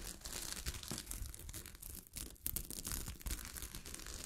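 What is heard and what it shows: Long glittery fingernails scratch a sheet of fabric covered with small gold sequins, making a dense, fast, crinkly rasp with bright, hissy highs and a low rumble beneath. The scratching runs almost continuously, dips briefly near the middle, then picks back up with a few sharper, louder scrapes.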